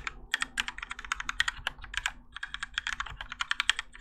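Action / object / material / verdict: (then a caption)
tap / mechanical keyboard with plastic keycaps / ABS plastic / none. Both hands type continuously with their fingertips on a Keychron K4 compact mechanical keyboard with Gateron Yellow switches and grey and orange ABS plastic keycaps, its plastic and metal case resting on a desk mat. A steady stream of about 31 quick, bright clacks is heard, each short and dry with almost no ring and little low end.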